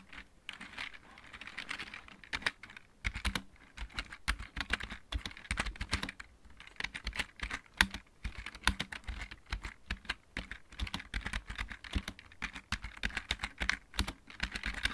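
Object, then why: Plastic mechanical keyboard. Fingertips of both hands type steadily on a full-size backlit mechanical keyboard with plastic keycaps. Quick, dry key clacks pair a low thock with a bright click and die away almost instantly, with short pauses between bursts.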